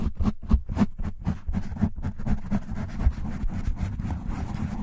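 Fingertips and short nails scratch the top of a black foam windscreen on a desktop microphone, then both hands cup and rub the sides of the foam. Deep, muffled, bassy scratching bursts start as separate strokes, then crowd together into a denser, continuous rubbing rumble.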